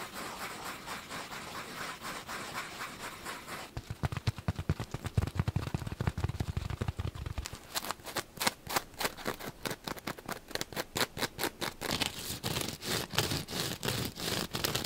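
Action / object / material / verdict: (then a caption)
scrape / polyurethane foam sponge / polyurethane foam / none. A flat, solid, palm-sized yellow polyurethane foam kitchen sponge with small pores is held in both hands and scratched and squeezed with short fingernails and fingertips. A steady, airy scratching gives way to rapid, dense bursts of scratching and squeezing, some with a soft low thump. The strokes come too fast and close together to count, and each one dies away almost at once.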